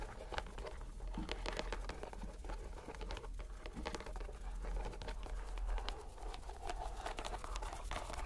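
A purple rubber stress ball inside a white mesh net is squeezed by hand so bubbles bulge through the netting. It makes a dense run of soft crinkling, pattering clicks and squelches over a steady low rumble, with brief bright ticks throughout.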